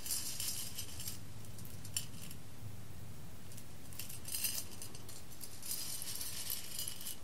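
Fingertips with long red-painted nails stir, scoop and rake a pile of loose whole roasted coffee beans on a large embossed clear glass plate. The beans clink against the glass in quiet, bright bursts of rattling clicks, with calmer gaps between them, over a steady low hum.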